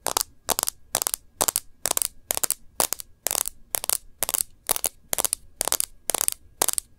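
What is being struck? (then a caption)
Smartphone with glass screen in a clear plastic case. Long nails tap the edges of a smartphone's clear plastic case with rose-gold edges and its glass screen. The result is a steady series of short clusters of crisp, bright clicks with almost no low end and a very quick decay.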